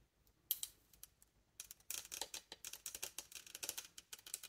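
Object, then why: Wooden bassoon joint with metal keys. Long nails and fingertips tap the wood and metal keys of a hollow, polished reddish wooden bassoon joint fitted with metal rings and keys. About 25 sharp, bright clicks are heard, almost all high-frequency, each dying away almost instantly. A few scattered taps at the start give way after about 1.5 seconds to quick, steady tapping.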